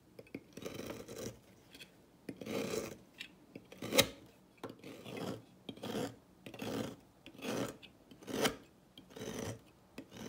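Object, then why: Bar of soap cut with a thin blade. A solid turquoise bar of dry soap, held in the fingers over a table, is sliced with a thin metal blade into brittle flakes. Each cut gives a dry, rasping scrape with bright crackle, one sharper snap among them, in short repeated bursts separated by near silence.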